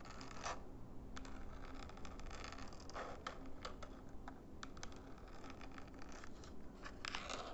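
Fingernails tap and scratch the plastic sides and buttons of a small, flat plastic IR LED remote control held edge-on in both hands. Quiet, continuous scratching is broken by sharp, bright clicky taps over a low, rumbling background.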